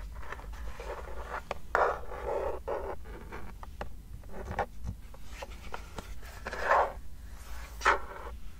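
Long nails scratch and tap across the flat lavender plastic underside of a wireless keyboard with a yellow sticker and a hollow case. Dry, papery scraping alternates with short, sharp clicks that ring briefly in the midrange over a steady low hum. A few louder scrapes stand out near the end.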